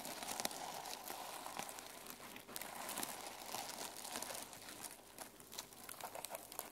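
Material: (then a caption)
Plastic sequins. Fingernails and fingertips brush and scratch across the plastic sequins covering a closed mermaid sequin journal resting on a table. A dense, quiet, crinkly rasp of clicking sequins runs throughout, bright and hissy, with a faint steady tone near 640 Hz and small bursts as the strokes shift direction.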